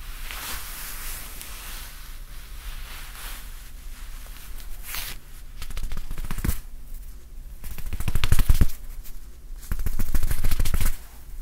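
A grey soft fabric curtain tie, folded and held in both hands, is scratched and rubbed with fingertips close to the microphone. Quiet, steady rustling builds into denser bursts of crisp scratching and rubbing that grow louder toward the end, with dull low thumps underneath.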